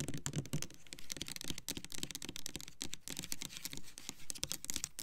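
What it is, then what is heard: Plastic foaming soap bottle, tapped with nails. Long nails tap quickly and unevenly on the front label of an upright, clear plastic Black Cherry Merlot foaming hand soap bottle full of pink liquid. Each tap is a short, bright click with a dull low thud beneath it, and the clicks run together into a dense, keyboard-like patter.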